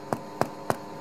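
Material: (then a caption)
Bread crust. Four hollow, wooden-sounding knocks on the bottom crust of a freshly baked bread loaf, each a short dull thud centered around 700 Hz over a steady low hum. The knocks sound like tapping a wooden wall, indicating the bread is fully baked.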